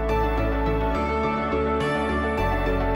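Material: Nothing is struck.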